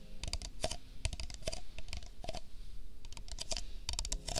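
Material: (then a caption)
Paper. An empty, hollow printed paper cup held close to the microphone is tapped and clicked with fingertips and nails. The result is a quick run of dry, hollow clicks with bright, crisp edges and almost no ring, and it sounds much like typing on a keyboard.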